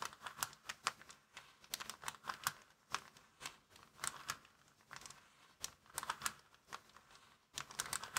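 Fingertips scratch and rub a small, empty, folded white plastic bag lying flat on a wooden table. The result is a rapid, irregular series of sharp, crisp crinkles and scratchy clicks that are bright and thin with almost no low end, each snapping off quickly with quiet rustling between bursts.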